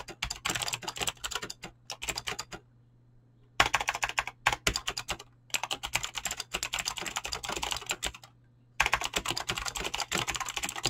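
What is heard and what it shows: Fingertips with short painted nails type fast on a full-size mechanical keyboard with Razer green clicky switches and pink-blue PBT plastic keycaps, resting on a desk. Rapid bursts of sharp, bright clicky keystrokes, each dying away almost instantly, are broken by brief pauses near three seconds and eight and a half seconds. A faint steady low hum runs underneath throughout.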